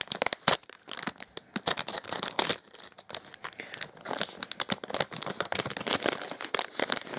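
A small printed metallized plastic foil blind bag with a toy inside is held in both hands and crinkled with the fingertips, then cut open with a knife blade partway through. The thin foil film gives a dense run of bright, sharp crinkles and tearing crackles with almost no low end.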